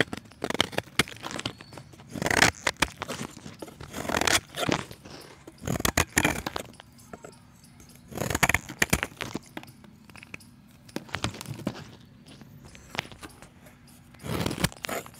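A utility knife blade scrapes the face and edge of a solid, palm-sized round chalk disc, shaving off curls of chalk. Dry, gritty scraping and crunching comes in repeated short bursts with quiet pauses between them. The sound is bright and crackly, with little low end.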